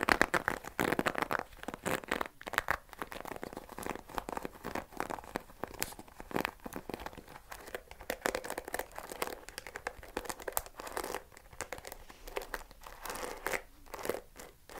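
Fingernails scratch and flick the dark pin bristles of a wooden paddle hair brush. The result is a dense run of quick, dry crinkly clicks and scratchy rustles spread across the mid and upper range, with no ring after each flick.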